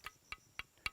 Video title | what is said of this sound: Sebuah cerita tentang kejayaan masa lalu Banda Naira.. | diketuk ini dibuang ada bunyinya di dalam